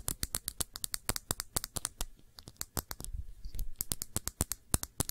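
Long fingernails tap the base and sides of a small glass perfume bottle filled with blue liquid as it is turned in the hand. The result is a quick, irregular stream of sharp, bright clicks with almost no ring, over a soft low rustle of handling. It grows briefly denser and scratchier in the middle.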